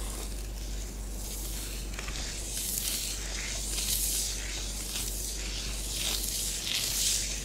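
Long nails are drawn in sweeping curved lines through a layer of orange bath bomb powder on a flat grey tray. The result is a soft, continuous, hissy scratching that swells in bright waves with each stroke over a steady low hum.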